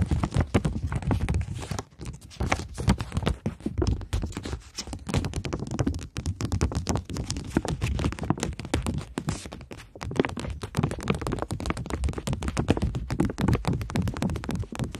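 A polymer plastic £20 banknote, held flat with its back facing up, is tapped and scratched quickly by long nails. The result is a dense, continuous patter of soft, dull clicks and brushy scrapes that stays mostly low and muffled, with little brightness, throughout the clip.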